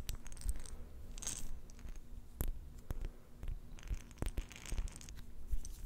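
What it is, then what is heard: Glass jar of plastic beads tapped with nails. Long nails tap quickly on a small, round, clear glass jar with a silver metal lid, filled with pink plastic beads. The result is a run of sharp, bright clicks over soft scratchy rustling and a faint steady low hum.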